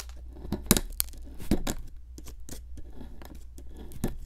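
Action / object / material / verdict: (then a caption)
scrape / plaster block scraped with a metal pick / plaster / none. A metal pick with a wooden handle chips and scrapes at a solid pink plaster excavation block sitting in a plastic tray. Short, irregular gritty scrapes and sharp crumbly clicks come over a steady low hum, with the loudest bursts near the start, middle and end.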